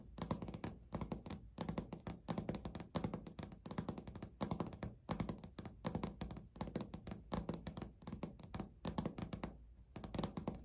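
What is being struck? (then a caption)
Laminate countertop. Natural nails tap rapidly and lightly scratch across a flat, solid beige speckled laminate countertop. The taps come in quick, dense bursts of short, dull clicks with almost no ring, soft and low-heavy, with brief pauses between runs.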